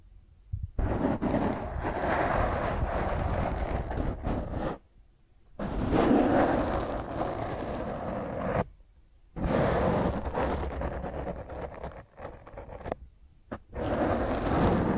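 Fingertips and long nails rub and scratch a black foam microphone windscreen, giving a dense, rough scraping rumble with a strong low end. The scratching comes in long bursts separated by short silent pauses.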